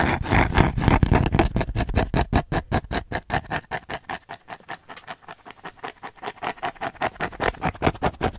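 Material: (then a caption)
Cork. Long nails rapidly tap and scratch a thin, flat, square, solid cork coaster with a red dot, held in the hands near the mic. The result is a fast stream of short, dry, dull taps, weighted low, that start dense and loud, fade quieter in the middle, then grow louder again toward the end.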